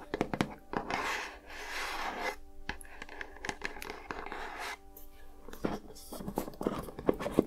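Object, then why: Small lidded cardboard gift box. Long nails scratch and tap the textured lid and sides of a small, hollow, lidded cardboard gift box with a lilac gingham and flower print, held in one hand. Soft, papery scratching swells come between many quick, dry taps and clicks, over a faint steady hum.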